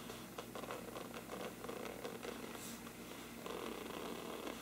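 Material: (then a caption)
Paper. Both hands scratch and rub the sides of a large, hollow, thin-walled bell-shaped lampshade with a mottled parchment-like paper surface, using fingertips and nails. The result is a steady, dry, papery scratching and rustling with a faint hollow resonance in the low-mid range. Brief brighter swishes appear in the texture, and the sound grows slightly louder in the final second.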